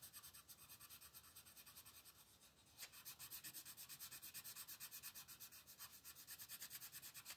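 A red-orange wooden colored pencil rubs across a thin paper coloring book page lying flat on a table as it shades the lower left area. About thirty quick back-and-forth strokes make a soft, bright, scratchy rasp with little low end, briefly easing near the middle before picking up a steady rhythm again.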